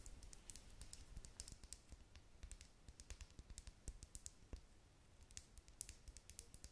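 Long nails tap rapidly on the side of a small, clear plastic lip gloss tube with a metallic cap, partly filled with pink gloss. The taps are quick, light and crisp, with bright clicky edges over a soft low rumble, and each one stops instantly with no ring.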